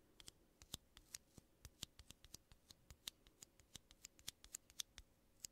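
Fingertips and nails tap and scratch two small, hollow, empty-looking aluminum coffee capsules of the same kind, one held in each hand close up. About 27 quiet, sharp, bright metallic ticks come at an uneven pace over faint scratching, each one dry and stopping at once with almost no ring.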